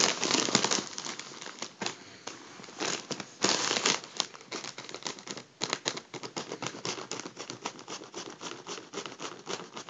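A makeup brush rubs and taps the crinkled foil of a deflated gold mylar foil balloon held in hand. Dense, bright crinkling and rustling fill the first few seconds, then give way to a quick, uneven run of short crackling taps. The sound is crisp and high with almost no low end.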